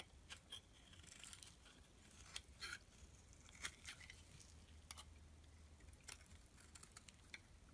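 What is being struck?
Bar of soap shaved by a metal blade.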